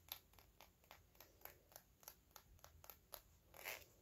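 Fingernails tap and lightly scratch the body of a small, hollow, clear faceted glass perfume bottle held upright. About fourteen quiet, short, bright clicks sound at a slow, even pace, with a high glassy tick on top. A longer, softer scratching swell comes near the end.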